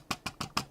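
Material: Plastic.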